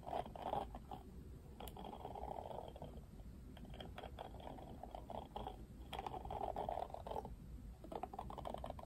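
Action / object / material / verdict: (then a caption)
scrape / plastic detangling hairbrush / plastic / none. Fingertips strum the thin plastic bristles of a Barbie Wet Brush, a plastic detangling hairbrush with a plastic frame. The result is a soft, continuous, rapid scratchy flutter with a midrange tone around 800 Hz that swells in louder bursts and eases between strokes.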